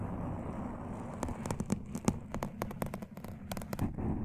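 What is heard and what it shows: Fingertips and short nails scratch and rub a soft, porous black foam windscreen over a large desktop USB microphone, starting slow and getting faster. A low, muffled rubbing rumble runs throughout, broken after the first second by sharp, bright scratch bursts that come closer together as the pace picks up.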